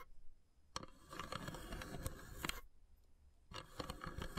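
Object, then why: Carved wooden incense box. Long grey-polished nails tap and scratch along the carved, perforated lid of a long, narrow, hollow wooden incense box with small brass elephant inlays, resting on a wood-slice mat. After a quiet start and a sharp tap, a dense run of quick, dry taps and bright scratching plays over soft, hollow low knocks, then stops briefly before another burst of tapping and scratching.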